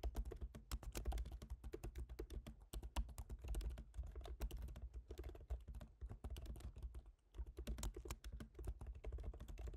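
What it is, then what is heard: Laptop keyboard typing. Both hands type with their fingertips on the black plastic low-profile keyboard of a silver aluminium MacBook Pro, making a steady run of light taps. Each keystroke is a short, dry click with a soft low thump beneath it and a faint bright edge, and the typing pauses briefly near 2.7 and 7.2 seconds.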